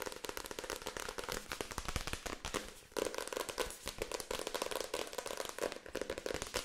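A paperback book is held open while its pages are riffled and its card cover is scratched and tapped with long acrylic nails. The result is a fast, dense stream of crisp crackling taps and papery rustles with bright edges and a midrange tone, briefly easing just before the 3-second mark before resuming.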